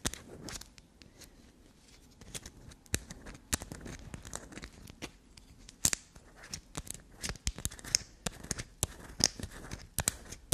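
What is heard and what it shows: Long black nails rapidly scratch, scrape, dig into and tap a solid block of black soap with a grey scraped surface. The result is a quiet, steady stream of soft, dry, bright scratching textures broken by many sharp, crisp taps that cut off instantly with no ring.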